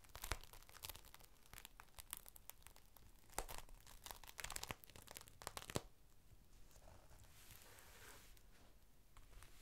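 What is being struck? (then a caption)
Thin clear plastic sheet. A thin clear plastic rain cover is opened out flat as fingertips lift its edges and crinkle them. Dense, bright crackling is broken by sharp snaps for about six seconds, then settles into a quieter, softer rustle to the end.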